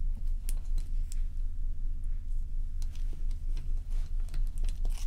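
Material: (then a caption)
Ice. Long nails tap and scratch along the sides and top of a large, solid, dome-shaped ice block resting on a towel. Crisp, bright clicks and brief scraping crackles come in a quick, fairly steady series over a constant deep low hum.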